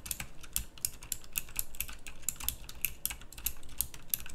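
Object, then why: Mechanical keyboard with round plastic keycaps. Fingertips type quickly on a full-size backlit pink mechanical keyboard with round plastic typewriter-style keycaps. A fast, uneven stream of sharp, bright clicks plays over a soft low thump from each keystroke. Every click is dry and dies away almost instantly.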